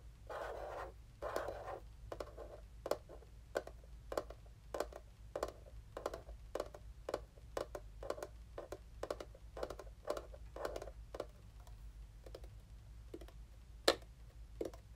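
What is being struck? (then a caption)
Small plastic game console. Fingertips, one wearing a ring, tap and drum on the flat top of a small, dark grey, hollow plastic retro mini game console held in both hands above its white box. The result is a long, irregular series of short, dry, hollow plastic clicks with a mid-range body, mixed with a few brief scratchy rubbing bursts early on. A faint low hum runs steadily underneath.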